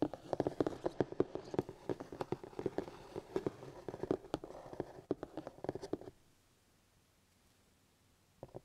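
Fingertips from both hands tap and drum rapidly across the lid of a black hard plastic paint kit case with a printed cardboard sleeve, lying flat and hollow. The result is a dense run of short, dry, hollow knocks with a mid-pitched body. After about six seconds it falls to near silence, then a few final taps sound at the very end.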